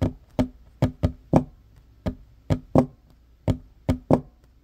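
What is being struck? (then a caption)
Wooden table top. Fingertips and short nails knock and tap on the flat, solid wooden top of a table. Eleven short, dry knocks come in an uneven rhythm, each a low, woody thud around 250 Hz with a quick tick on top that dies away almost at once.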